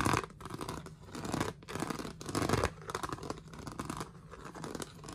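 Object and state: Plastic storage box lid, scratched.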